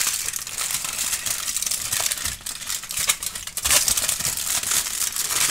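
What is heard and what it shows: A heavily wrinkled aluminum foil sheet is crushed by hand and then opened out wide, crumpled and crinkled between fingers and palms. The result is a dense, continuous stream of bright, sharp crackles with almost no low end, swelling and easing as the sheet is worked.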